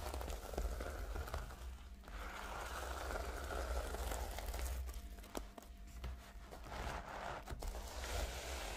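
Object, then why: Plastic sequin notebook cover. Long nails and fingertips scratch and brush back and forth across the reversible pink and blue plastic sequins covering a flat rectangular notebook lying on a pink tablecloth. A steady, fine crinkling and crackling rasp is heard, with irregular brushing strokes over a low rumble.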